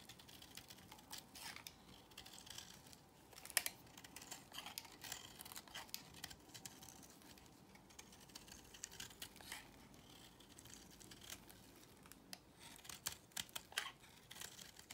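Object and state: Bar soap being shaved.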